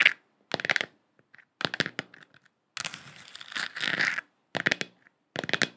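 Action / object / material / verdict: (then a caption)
tap / plastic lamp sphere / plastic / none. A lit, hand-sized hollow plastic moon lamp sphere with a galaxy print, held in both hands, is tapped and scratched with long acrylic nails. Quick bursts of crisp, bright clicking taps alternate with a longer dry scratching stretch in the middle. Each tap dies away almost instantly, with very little low end and short silences between bursts.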